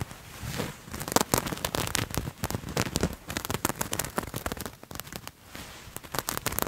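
A purple patterned fabric garment is bunched in both hands close to the mic and scratched with fingernails. The result is dense, dry, crackling scratches in rapid bursts, bright and rough with a soft low rustle underneath and brief quieter pauses between flurries.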